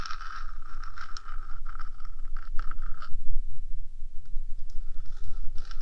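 Long dark acrylic nails scratch and tap the top of the small, hollow, purple-painted metal box housing of a 3Dio microphone, between its silicone ears. Dense, gritty scraping carries a steady ringing tone with bright overtones and a low rumble underneath, mixed with quick light taps. Partway through, the ringing drops away to rougher, softer scratching before returning near the end.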